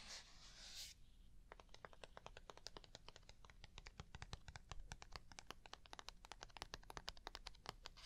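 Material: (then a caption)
Plastic. Long nails scratch across the lid of a small, flat, white plastic box held close to the mic, making a bright, hissing rasp for about the first second. Then comes a fast, steady run of sharp, dry taps on the lid that continues to the end. A low, steady hum sits underneath throughout.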